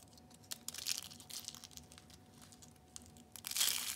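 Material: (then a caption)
Soap. Blue and purple dried soap curls are broken and crushed under the palm and fingers, giving a string of bright, dry crunches and crinkling snaps. The crackle comes in uneven bursts and ends in a louder final crush.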